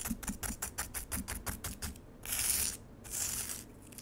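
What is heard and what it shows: Long acrylic nails on both hands vigorously scratch solid frozen lemonade ice in a black plastic tray, with ice shavings on the surface. A quick, uneven run of sharp, bright scratchy strokes comes first, followed by two longer, louder hissing scrapes across the ice.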